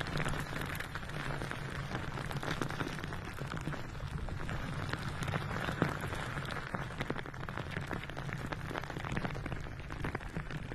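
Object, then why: Soft rubber squishy ball filled with glitter. A palm-sized blue glitter-filled rubber squishy ball with a soft rubbery shell, held close to a microphone, is tapped and scratched with long nails. The result is a steady, dense stream of soft, quick tapping and scraping that sounds like rain, over a low, even hum.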